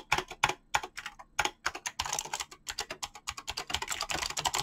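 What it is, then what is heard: Mechanical keyboard with plastic keycaps. Fingertips type fast on a mechanical keyboard with clicky green switches and PBT plastic keycaps. The result is a rapid, slightly uneven stream of sharp, bright clicks with very short decay and little low end, growing denser and busier toward the end.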